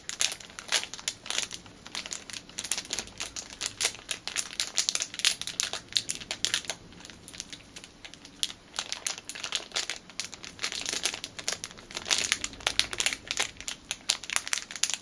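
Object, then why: Thin clear plastic bag with a rubber band inside. Fingers crinkle and squeeze a small clear plastic packet holding a black rubber band. The result is dense, bright crackling bursts that come in quick flurries throughout, with almost no low end and no ringing after each crunch.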